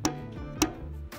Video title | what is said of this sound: J'ai Acheté une NOUVELLE IMPRIMANTE!!! Encore.... | sonne un peu comme une carte d'électeur donc ça s'est très très bien